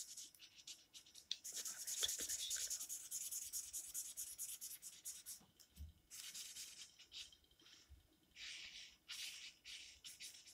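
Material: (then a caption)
Paper. A green felt-tip marker held in the fingers is rubbed back and forth across the page of an open paper coloring book lying flat on a table. The result is a quiet, bright, hissy scratching in uneven bursts of short strokes, with brief pauses between passes and almost no low end.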